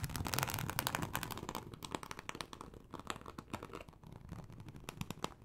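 Long acrylic nails scratch across a large, flat, teal snakeskin-embossed leather sheet. The result is a rapid, irregular run of short, dry scratching strokes with bright, crisp texture and a low rumble underneath. It is loudest at the start and eases slightly later on.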